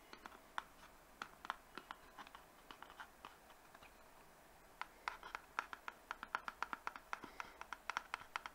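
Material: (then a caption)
Cardboard. A small rectangular cardboard box, printed pink with green leaves and hollow, is tapped and scratched with fingertips and nails on its faces and edges. Quick, dry, bright clicks and light scratching come in a steady stream, then go quiet for about a second. They resume in a denser, faster run of taps.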